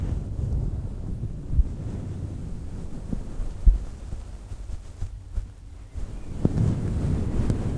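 Flat hands rub and long nails scratch a fluffy faux fur microphone windscreen, a synthetic fur mic cover. The result is a deep, muffled rumble concentrated in the low end, broken by a few soft thumps. A quieter stretch comes before the rubbing swells again near the end.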